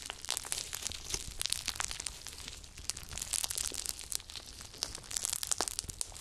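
Gold glitter slime is kneaded and pressed between the fingers and palms, then pulled into a long rope with both hands. It makes dense, squishy crackling and crunching sounds, with many quick, bright pops over a soft hiss and very little low end.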